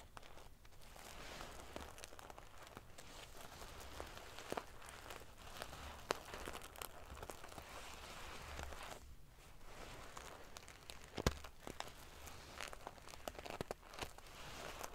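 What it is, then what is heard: Metal sequin-covered pillow. Long fingernails scratch and ruffle the rows of silver metal paillettes on a soft-filled, sequin-covered pillow. It makes a continuous quiet, crinkly rustle with bright, prickly clicks, a few sharper ticks standing out. A steady low hum runs underneath.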